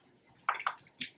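A screw-cap plastic bottle of exact-colour liquid silicone colour mix, supplied very liquid so it can be mixed, is shaken by hand. Short bursts of sloshing liquid come through, centred in the mid range around 1.3 kHz with a bright edge, separated by quiet gaps. The sloshing is soft overall and dies away quickly after each shake.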